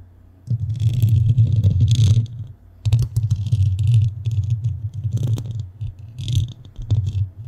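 Long nails scratch across the black metal mesh top of a microphone, making a dense, rumbling scrape that is heavy in the low end, with bright, hissy flurries over it. The scratching runs in bursts with a brief pause near the three-second mark, then continues unevenly to the end.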